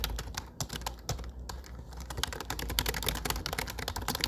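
Fingertips type on a low-profile plastic computer keyboard with dark plastic keycaps. Rapid, irregular clicks and taps run throughout, each short and dry, over a faint steady low hum.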